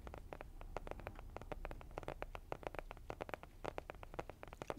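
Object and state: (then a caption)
Cardboard blush palette. Fingernails tap quickly on a flat, rectangular, printed cardboard blush palette (Cheek Parade), a hollow makeup case held close to the microphone. The result is a steady run of soft, dry, hollow clicks with a papery midrange knock and almost no ring, over a faint low rumble.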